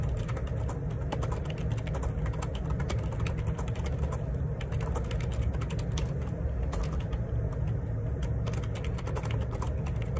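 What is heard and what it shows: Fingertips type steadily on the plastic keycaps of a black, hollow-bodied Perixx Periboard 612 wireless Bluetooth split ergonomic keyboard resting on a desk. Dense, rapid key presses make a continuous stream of soft, clattering taps with bright click edges over a deep, constant low rumble.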